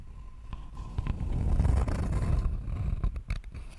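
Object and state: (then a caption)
Wooden board scratched with fingernails. Long fingernails scratch the surface of a thin, flat, rectangular wooden board held close to the microphone. The result is a dense, low, rumbling scrape that swells toward the middle of the clip and then breaks into sharper, irregular scratches and ticks near the end.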